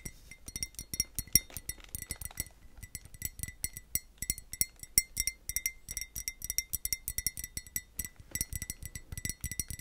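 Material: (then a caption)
Glazed ceramic. A small, hollow, white glazed ceramic pot, held in the hand with blue tissue paper stuffed in its top, is tapped rapidly with long nails. The result is a steady run of quick, bright clinks that cut off almost at once, each with a faint low knock beneath.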